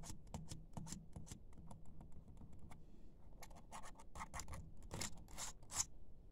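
Fingertips with short nails type and tap on a laptop keyboard with black plastic keys. A fast, irregular run of short, bright clicks and taps sits over a steady low hum, with a brief lull near the middle before the tapping picks up again and grows louder toward the end.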